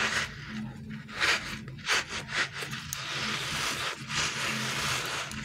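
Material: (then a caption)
TPR rubber. A small, solid, palm-sized green glittery dinosaur-shaped stretchy toy made of soft rubbery TPR is squeezed and rubbed between the fingertips and thumbs of bare hands. This produces bright, hissy rubbing and scraping swells with a few sharper squeaky bursts. A faint, steady low hum sits underneath.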